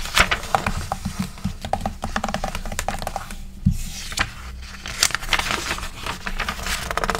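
Long pink acrylic nails and fingertips tap, trace and scratch across the pages of an open, thin, flexible glossy paper magazine lying flat on a wooden table, with pages flipped in between. Rapid, crisp, dry taps mix with bright papery scratching and rustling. There is a low soft thump partway through.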